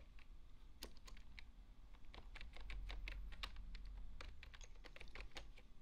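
Fingertips type steadily on the hollow plastic keys of a full-size beige plastic desktop keyboard. The quiet, irregular clicks are short and bright, over a constant low rumble.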